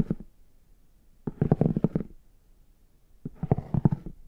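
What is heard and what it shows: A plastic stick tool with a rounded tip taps and scratches the embossed squares of a brown, chocolate-bar-shaped faux leather hard shell case held upright. It makes three bursts of quick, dull, low-pitched clicks and scrapes with a muffled tone. Each burst stops dead with no ring, leaving near silence between them.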